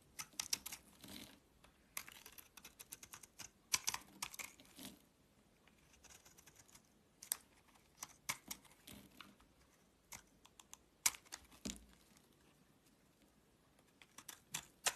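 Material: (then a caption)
Soap. A solid green soap bar with a grey coating, held in the hand, is shaved with a box-cutter blade. Quiet, crisp, bright scraping and crackling strokes come in irregular bursts with brief pauses between them. Each cut ends quickly with no ring.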